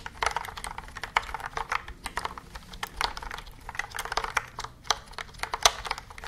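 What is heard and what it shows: A white and yellow plastic computer keyboard with round keys is held upright in both hands while its keys are pressed and tapped with long nails and fingertips. The result is a quick, irregular stream of sharp, dry clicks with bright, high edges and almost no low end or ring.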